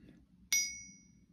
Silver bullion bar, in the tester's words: that silver sound that you'd be expecting to hear